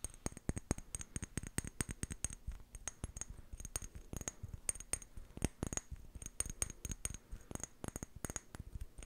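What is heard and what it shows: A small amber glass jar with a white plastic lid is held in both hands and tapped and scratched with long painted fingernails. About forty quick, dry taps land in an uneven rhythm, each a short click with a low thump and a bright glassy tick, with soft scratching between them.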